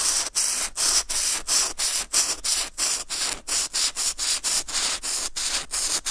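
A brush-tip marker rubs back and forth over a flat sheet of white textured watercolor paper, filling in a red patch. About 19 dry, hissy strokes sound almost entirely in the high, bright range, each separated by a brief gap. They come at roughly three per second in a slightly uneven rhythm.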